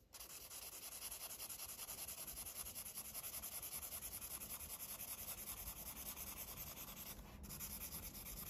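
A red felt-tip marker makes continuous coloring strokes across a thin paper coloring book page lying flat, rubbing and scratching the paper surface. The result is a steady, bright, hissy scratching that pulses with the back-and-forth strokes, with a brief lull near the end before the strokes resume.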